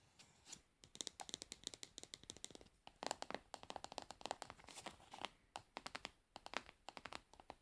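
Long nails tap and scratch the frosted hard plastic bottom of a plastic cosmetic pad jar in quick bursts of dry, bright clicks. Soft scratching fills the gaps between the taps, and each tap stops dead with no ring.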